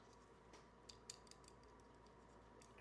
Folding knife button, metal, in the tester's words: there's definitely a rattle, and that's from this button being a little loose